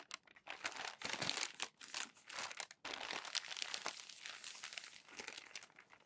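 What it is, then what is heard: Glossy magazine paper. Hands press, rub and fold crinkled glossy magazine sheets flat on a stack of pages. The result is a dense, bright stream of crackling and crinkling paper noise with very little low end. It dips briefly just before the three-second mark, then carries on steadily.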